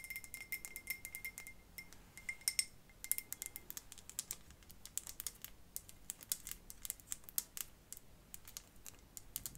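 Long fingernails tap and scratch a decorative glass light bulb with a metal base, filled with pebbles and a small artificial plant. A rapid, quiet run of bright, sharp clicks and ticks with a faint high glassy ring, each dying away almost instantly.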